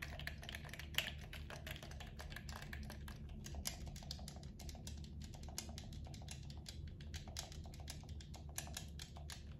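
A blue camo plastic gamepad is held in both hands while fingertips press and tap its buttons and triggers. A fast, steady run of short, bright plastic clicks and taps plays over a constant low hum.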